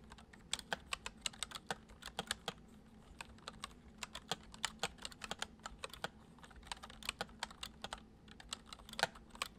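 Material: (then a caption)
Plastic. Fingertips of both hands type fast, repeated taps on a full-size white plastic computer keyboard with hollow keys resting on a wooden desk. The result is a quick, uneven stream of sharp, bright plastic clicks that die away almost instantly, over a faint steady low hum.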